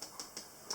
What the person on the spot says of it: you can always tell by tapping on them they sound hollow then they're done they're dry